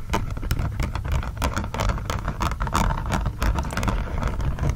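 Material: Silicone.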